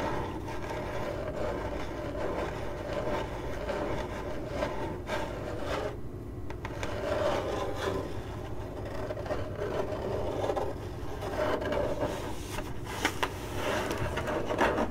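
Long acrylic nails scratch across a hollow, printed corrugated cardboard box, producing a steady, dry rasping scrape over a low, hollow rumble. The scratching continues at an even level for the whole clip, with a few brighter, sharper strokes near the end.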